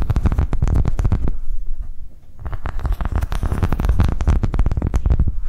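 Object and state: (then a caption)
Silicone coaster tapped and scratched with nails. A thin, flexible green silicone coaster with ridges is held on edge and scratched and tapped with long nails. Rapid, dense taps give soft, dull low thumps with bright, clicky nail edges. The taps ease briefly in the middle before picking up again at the same quick pace.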